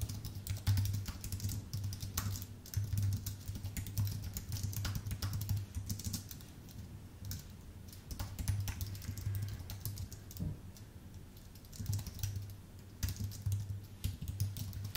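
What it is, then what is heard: Aluminium and plastic keyboard being typed on. Fingertips of both hands tap steadily on a full-size white Apple Magic Keyboard with a numpad, its thin aluminium base and plastic keycaps resting on a dark desk. Dense runs of quick, light key clicks come and go in bursts over a steady low hum, each tap dying away almost at once.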